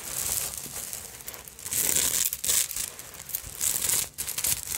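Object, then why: Fabric evening purse covered in glass beads and sequins. Long acrylic nails scratch and tap a small, hollow black vintage evening purse covered in glass beads, sequins and bead fringe. The result is a dense, bright crinkling and rasping clatter that swells into louder bursts and briefly dips, with almost no low end.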